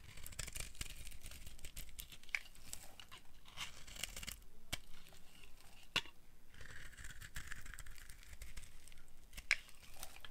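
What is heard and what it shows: A solid orange bar of dry soap is held in the hand and carved with a flat blade. The result is a steady run of crisp, crunchy scraping and crackling with sharp bright clicks over a soft low rumble, as the crunchy flakes pile up.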